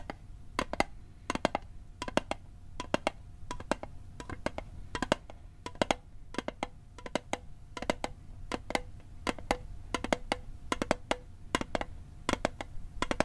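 A metal Altoids mint tin is tapped repeatedly in quick bursts and clusters of sharp, dry clicks. Each tap has a brief hollow tinny ring around 600 Hz with bright metallic edges, over a faint low rumble.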